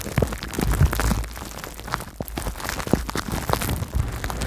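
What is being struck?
Plastic bubble wrap.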